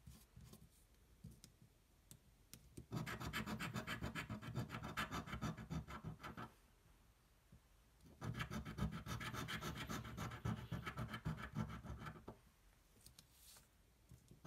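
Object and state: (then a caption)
Scratch-off lottery ticket being scratched. A coin rests aside at the start, then its edge scratches a thin, flat cardboard scratch-off lottery ticket lying on a table. Two long bursts of rapid, rasping strokes follow, separated by a quiet pause. The scraping has a low rumble beneath a bright, gritty texture.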